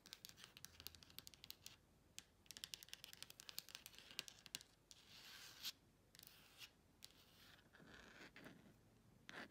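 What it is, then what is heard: Plastic phone case, tapped and scratched with nails. Long pointed nails tap and scratch a phone in a clear plastic case with a printed "ASMR" insert. Quick, sharp, high-pitched clicks come in fast bursts, then give way to longer hissing scrapes across the plastic. The sound stays quiet and bright, with almost no low end.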